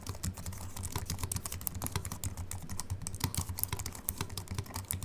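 A compact Apple keyboard with a silver aluminium body and white plastic keys, resting on a wooden desk, is typed on rapidly with the fingertips of both hands. A dense, steady stream of short, dry key clicks is heard, each with a soft low thud and a bright tap that stops almost instantly, with no ring.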